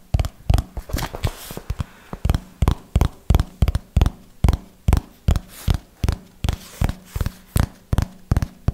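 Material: Cardboard.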